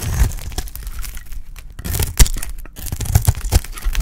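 A solid, dry oval red bar of soap held in the hand is shaved with a metal utility blade. The result is a run of crisp, tearing scrapes and crunchy cuts, with sharp bright attacks over a low, thumpy body.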